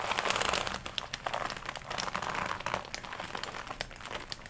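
Long nails scratch and rub the chest and upper arms of a glossy black leather jacket worn on the body, crinkling the leather. Dense, dry crinkling and rustling fills the clip, with sharp bright ticks and scratches and very little low end. It is loudest at the start, then settles into a steady, slightly quieter crackle.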